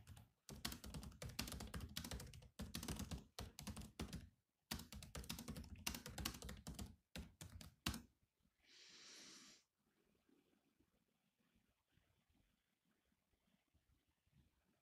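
Fingertips type continuously on the black plastic keys of a silver laptop, making rapid, clicky taps in dense bursts separated by short pauses for about the first eight seconds. A brief steady hiss follows around the nine-second mark, and the rest of the clip fades to faint, quiet background noise.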